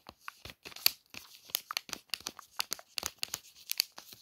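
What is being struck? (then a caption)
Plastic-wrapped soap pack. Long nails trace and scratch the printed wrapper of a crinkly plastic-wrapped Palmolive soap pack, making about sixteen quick, separate crinkling and scratching bursts. The sound is bright and dry, mostly high-pitched with almost no low end, and each burst stops abruptly without any ring.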